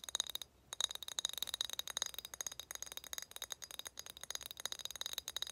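A glass bottle is tapped for ASMR in a rapid, steady series of light taps, with one brief pause early on. Each tap is a quick, bright clink with a high glassy tone around 3.8 kHz that dies away almost at once, leaving no low-end body.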